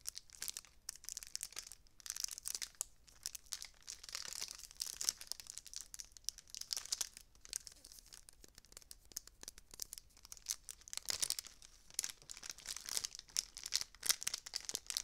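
A multicolored metallic foil tinsel spray with a red foil-wrapped stem is crinkled and squeezed with long dark nails and fingertips. It makes a steady stream of quiet, bright, crackling crinkles, almost all high-pitched hiss with no low end.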